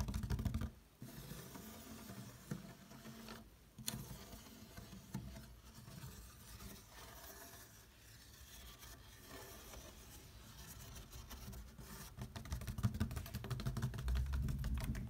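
Fingertips and nails tap and scratch across the woven surface of a large, hollow black woven plastic storage basket. The result is a steady, fairly rhythmic rasping and patter with a low, hollow body and short, dry taps, pausing briefly twice near the start.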